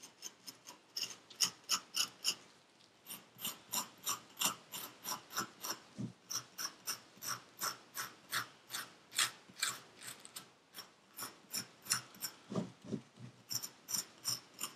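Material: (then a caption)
Sand. A metal needle tool scrapes the surface of purple kinetic sand packed into a paper cup. About 37 short, crisp, bright scraping strokes come in a quick but uneven rhythm, each dying away almost at once, with little low end.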